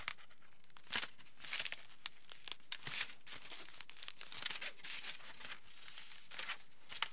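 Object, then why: Aluminium foil sheet. A large, wrinkled sheet of aluminium foil is rubbed flat against a table with the palms and fingers, then held up and crinkled. The result is steady, quiet, bright crinkling and crackling, with sharp snapping bursts scattered throughout.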